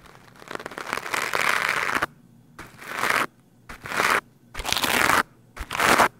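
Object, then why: Foam microphone windscreen brushed with a stiff plastic brush. A green plastic scrub brush with stiff bristles is brushed quickly across the top of a black foam microphone windscreen. The result is a loud, bright, scratchy crunching with no low rumble: one long stroke followed by several shorter bursts, separated by near silence.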